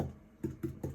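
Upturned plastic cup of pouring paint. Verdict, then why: Hollow. An upturned XL plastic cup of acrylic pouring paint, flipped onto a canvas, is tapped four times, giving short, low, dull knocks that die away quickly. The cup sounds nearly hollow because most of the paint has run down out of it.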